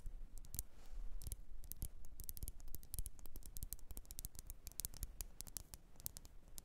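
Long nails tap quickly around the rim and sides of a lit, wax-filled red glass candle jar. The result is a dense run of crisp, bright clicks with very short decay over a quiet, steady low rumble.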